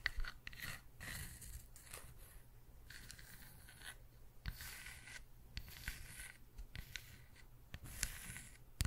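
A round, solid wooden log-slice coaster with a bark edge is held in one hand and turned while long nails tap and scratch across its cut surface and edge. The sound is quiet and close, with dry, short taps and bright, rasping scratch bursts over a low, steady background hum.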